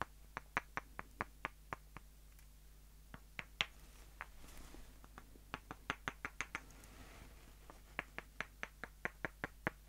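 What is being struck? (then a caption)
Wooden dowel sticks. Two short, solid light-wood dowels, one held in each hand, have their rounded ends tapped together, making 27 sharp, dry, bright clicks that die away almost instantly. The taps come in quick irregular runs with pauses between them, over a faint steady low hum and a brief soft rustle near the middle.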